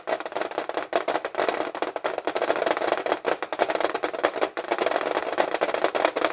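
Fingernails tap fast on the front lid of a flat, printed metal tin of 50 Stabilo fineliners, held upright and full of pens. The result is a dense stream of quick, dry clicks with a hollow metallic tone around 680 Hz and almost no ring after each tap.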